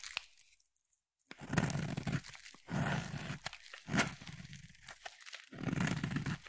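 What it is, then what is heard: Bar soap being carved. A solid purple bar soap is cut and scraped with a utility knife blade. After a near-silent start, bursts of dense, low crunching and tearing scrape through the soap, separated by short pauses.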